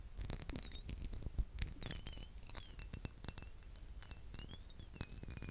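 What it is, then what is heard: Glass aftershave bottle. A vintage glass aftershave bottle is tapped repeatedly, giving a quick series of bright, short glass clinks. The taps come in uneven runs with high ringing tones and a faint low rumble underneath.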